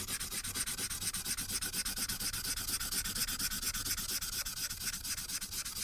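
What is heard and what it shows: Fingers rub the felt tip of a marker in rapid strokes over a thin paper coloring sheet lying flat on a clipboard. A steady, bright, scratchy rubbing hiss pulses evenly with the back-and-forth strokes, with only a faint low rumble underneath.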